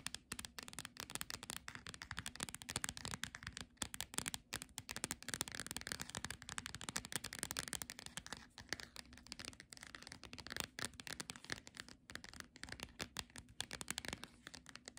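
Long nails rapidly tap and scratch the solid glossy card cover of the paperback book "A Picnic with Monet." The result is a dense, continuous stream of crisp, bright clicks and scrapes that each die away almost instantly, over a faint steady low hum.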